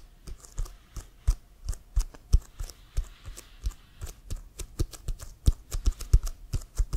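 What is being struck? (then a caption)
Inflated leather football. Fingertips and nails tap on the surface of an inflated, hollow leather American football bearing the CFL logo. The clip has about thirty quick taps in an uneven rhythm, each a short, dull low thump with a bright clicky edge that dies away almost instantly.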